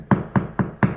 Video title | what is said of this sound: Flipping VB | it sounds Hollow it's does not sound solid